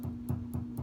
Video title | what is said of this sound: Epiphone Les Paul NO-SOLDER Pickup Swap | still hear a nice solid thump when we tap over there which means that we've successfully installed the pickup